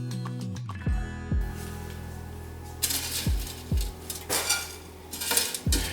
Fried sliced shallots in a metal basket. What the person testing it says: You can hear how crispy they are.